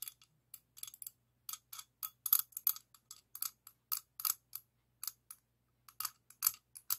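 An open-end steel wrench held in one hand rubs and taps against the jaw and worm gear of a solid, medium chrome-plated steel adjustable wrench held in the other. The result is a quiet, irregular run of short, bright metallic clicks and light scrapes, some clustered closely together. Each dies away almost instantly with no low-end body.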